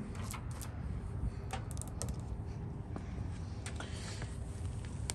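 Long nails tap and scratch along the white-painted, solid wooden top rail of a porch handrail, making quick, dry clicks and brief bright scrapes that die away almost instantly. A steady low rumble runs underneath the whole time.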